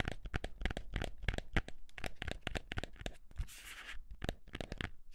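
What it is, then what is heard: Cardboard box. A small, hollow white cardboard box is held in both hands and scratched and tapped with the fingertips and nails. It gives a quick series of dry, papery taps with a low hollow thump, broken by a longer, brighter scraping scratch just before the final taps.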